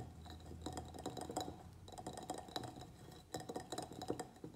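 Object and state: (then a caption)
Ceramic plant pot. A medium white ribbed ceramic plant pot, filled with soil and a pruned begonia, is tapped on its sides with the fingernails of both hands. It gives a quick, uneven run of light, dry clicks and ticks with a bright edge. Each tap dies away almost at once, over a soft low hum.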